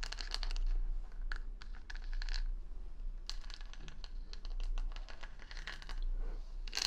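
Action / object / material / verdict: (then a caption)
scrape / wooden hair brush with plastic rhinestones / plastic / none. Long nails scratch and tap the plastic rhinestone stickers covering the back of a wooden paddle hair brush, close to the mic. The result is a dense run of bright, crinkly scratches and sharp, quick clicks that die away almost instantly, over a steady low hum.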